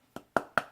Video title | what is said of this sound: VFC QRS disassembly | nice solid sound